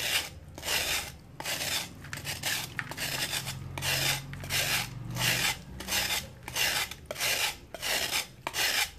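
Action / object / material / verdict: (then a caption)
scrape / sand-cement chunk scraped by a metal knife / sand-cement / none. A metal knife scrapes and shaves the edge of a solid, flat slab of dry sand-cement held in hand over a water tub, releasing dust. The clip is a steady run of harsh, bright, raspy scraping strokes, each a short burst of gritty noise, separated by brief pauses at a fairly even rhythm. A faint low rumble sits underneath.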